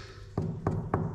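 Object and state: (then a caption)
Solid stair step. Three low, dull knocks on a spot of an old cave-house stair step made of plaster over masonry, each a short thud with little ring. The step sounds solid.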